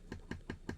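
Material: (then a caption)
Stabilized wood. Four taps on the stabilized wood back plate of a Pula Anvil 114 in-ear monitor. Each tap gives a short, hollow knock with a resonant ring around 2 kHz that dies away quickly. The shell sounds hollow and vibrates like a large glass window, which is not normal for this kind of earphone.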